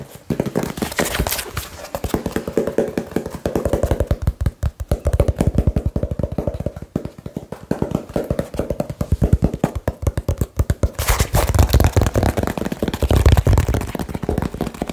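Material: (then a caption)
Cardboard. Fingertips tap very quickly on a small, hollow, labeled cardboard box, making a dense, continuous stream of short, dull, low-pitched thuds. Each tap dies away almost instantly, and the rapid, aggressive rhythm sounds hollow and boomy with little brightness.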